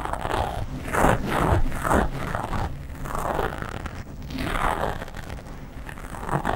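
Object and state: Foam microphone windscreen being scratched.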